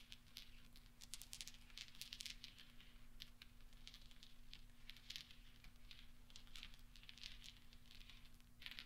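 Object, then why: Small steel balls on velvet. Fingertips stir and roll small solid steel pachinko balls on velvet, producing a quiet, continuous stream of bright, rattling metallic clinks. A steady low hum runs underneath throughout.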